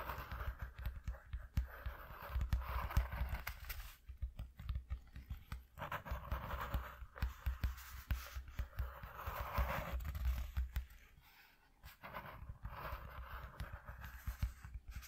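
A flat, thin, single-layer piece of white cardboard, about A4 size and cut from an empty shoe box, lies on dark fabric and is tapped rapidly with the bare fingertips of both hands, nails short and gloves covering the backs of the hands. The result is a steady flurry of soft, dull, low thuds with very little ring, plus faint papery scratching in between. The tapping briefly thins out and quiets before picking back up near the end.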